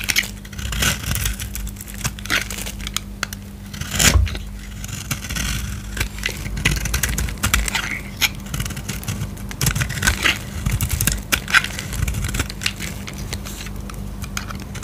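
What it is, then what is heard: Dry soap bar being scraped. A metal utility-knife blade with an orange handle scrapes and cuts flakes and curls from the edge of a solid oval blue-and-white dry soap bar held in the hand. The sound is a steady run of dry, crackly scraping, with many short, bright rasps and crisp snaps over a faint low hum. One louder cut lands near the four-second mark.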